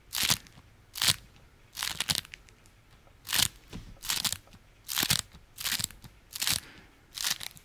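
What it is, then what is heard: Beeswax-coated fabric food wrap being crunched. A small folded beeswax-coated fabric food wrap is held in one hand and squeezed and crunched with the fingers. Short, bright, crisp crinkling crunches come in bursts at an uneven pace, roughly once a second, with quiet gaps between them and very little low end.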